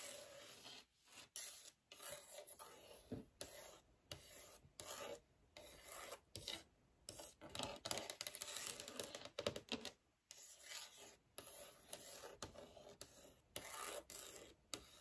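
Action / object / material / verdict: scrape / wooden desk top / wood / none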